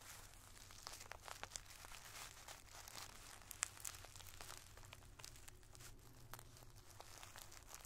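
A wooden drumstick pencil taps and scratches a clear plastic zip-top bag full of multicolored tissue paper squares, which is pressed flat by hand. The result is a dense, quiet stream of bright crinkles and short, sharp ticks, with a steady low hum underneath.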